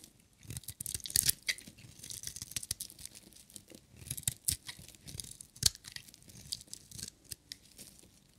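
A metal utility knife blade shaves a solid, hand-sized, dry red striped bar of soap, peeling off curled shavings. The sound is a run of short, dry, crisp scraping and crackling strokes, bright and hissy with little low end, each dying away almost instantly at a soft overall level.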